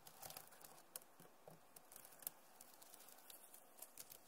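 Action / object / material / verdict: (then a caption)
tap / plastic laptop keyboard keys / plastic / none. Long nails tap quickly on the keys of a backlit plastic laptop keyboard. The result is a quiet, fast patter of sharp, bright clicks with almost no ring, and a few louder taps stand out.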